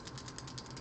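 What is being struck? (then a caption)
Glass nail polish bottle with metal mixing ball. A glass bottle of bubblegum pink nail polish is shaken before use, and the little metal mixing balls inside rattle against the glass in quick, repeated clicks. The balls are there to help the polish mix more efficiently.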